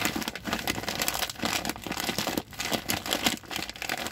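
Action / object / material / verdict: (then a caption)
scrape / plastic sack full of rice / plastic / none. Fingers crinkle and rub the plastic near the red handle of a large white plastic rice bag with red print, full of rice. A dense, continuous bright crinkling fills the clip, with only brief dips in loudness between bursts of rustling.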